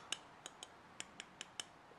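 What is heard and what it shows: A steel chipbreaker, shifted slightly against the blade of a Japanese hand plane, is tapped eight times, giving short, bright metallic clinks that ring sharply and die away almost at once. The clanking shows the chipbreaker and blade are not fitted tightly and need adjusting, because the gap lets shavings clog the mouth.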